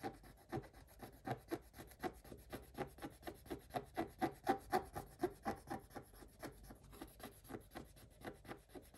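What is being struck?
Scratch-art paper page scraped with a wooden stick.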